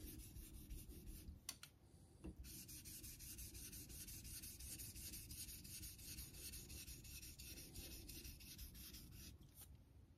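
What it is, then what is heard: Straight razor honed on a synthetic whetstone. A vintage Geneva Cutlery steel straight razor, held by the fingertips, is rubbed back and forth across a solid light-blue synthetic Naniwa water stone set in a metal holder over a steel sink. Steady, quick honing strokes make a continuous bright, gritty scraping hiss over a low rumble.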